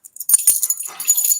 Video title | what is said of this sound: IN THE SPOTLIGHT | When we shake it, it sounds like Riley getting up.